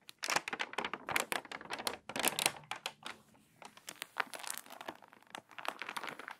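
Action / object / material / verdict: scrape / paper magazine pages / paper / none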